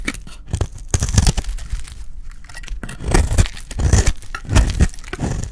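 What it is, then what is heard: Dry bar soap being shaved. A solid red bar of dry soap, held in the hand, is shaved into curls with a metal utility blade. The clip is a run of quick, crisp scraping and cutting strokes. Each stroke carries a dry crackle and a low thud, with brief pauses between bursts.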